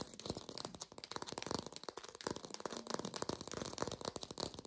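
A textured artificial plastic orange is tapped fast in a lo-fi recording. The result is a dense run of quick, dry, rattling taps with a bright edge that stop dead with no ring.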